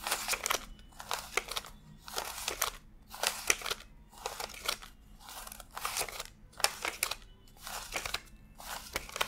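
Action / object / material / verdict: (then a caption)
flick / paper banknotes / paper / none. Fingertips flick and rub thin US $100 paper bills one by one from a stack fanned on a desk while counting them. Short bursts of bright, crisp papery rustling and crinkling repeat at a steady pace, with quiet gaps between them.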